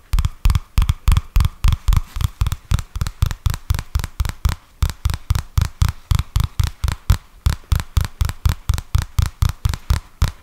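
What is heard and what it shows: Fingertips and nails tap and scratch the glossy card cover of a purple paperback book or notebook, a solid, flat stack of paper held upright close to the mic. About 41 quick, uneven taps land as deep, dull thumps with very short decay, over faint brighter scratching.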